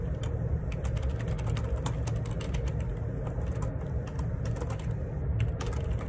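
Fingertips type steadily on a black plastic Perixx Periboard 612 wireless Bluetooth split ergonomic keyboard, with a hollow housing and plastic keycaps, resting on a desk. Rapid, light key clicks tap over a constant low rumble that dominates the sound.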